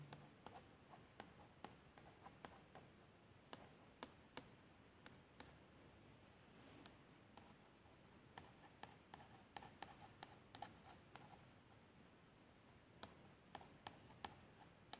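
A long nail traces the label text on a plastic shower gel bottle that appears filled, making a soft, continuous scratching sound. About 28 sharp, short ticks and taps stand out over the quiet rasp, each dying away almost at once, with a bright edge to them.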